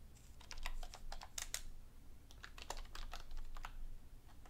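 A black plastic computer keyboard is typed on with both hands, using fingertips and long nails. Quick, bright clicking key taps come in uneven bursts over a steady low rumble.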